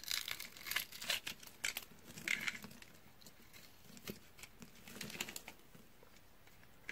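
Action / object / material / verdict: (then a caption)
scrape / bar of soap / soap / none. A red bar of dry solid soap is held in the hand and scored into a grid of cubes with a utility knife, then fingers press the scored surface so the pieces crunch. Dense, bright, crisp crackles and crunching snaps come in quick bursts, thinning to faint crackle toward the end.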